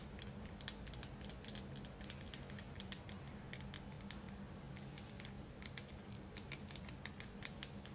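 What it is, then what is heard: Selenite crystal tower. Long acrylic nails tap and scratch a solid white tiered selenite crystal tower held in the hands. The result is a quick, uneven run of many short, bright clicks and light scraping over a steady low hum.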